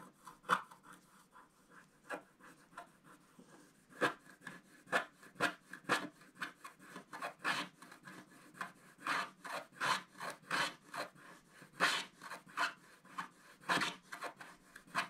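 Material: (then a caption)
Coated paper. A wooden stylus scratches across a flat, black-coated scratch-art card in about thirty short, separate strokes. Each stroke is a quiet, dry, bright rasp centred around 1.2 kHz, with almost no low end and no ring between strokes. The strokes come irregularly at first and grow denser and louder toward the end.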